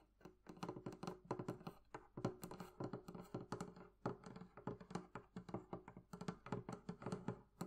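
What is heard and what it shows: Long nails tap rapidly across the curved wooden top and sides of a hollow, closed, barrel-shaped wooden chest with metal bands. The result is a quick, uneven stream of short, dry, hollow knocks with a low woody thump, clicky edges and almost no ring.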